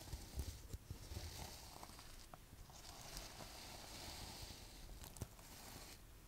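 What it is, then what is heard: Sequin fabric pouch being scratched. Long white acrylic nails scratch and rub across a soft gold sequin-covered fabric pouch held in both hands, flipping the sequins. The result is a steady, bright, scratchy rustle over a low rumble, with a few sharper clicks where the sequins snap over.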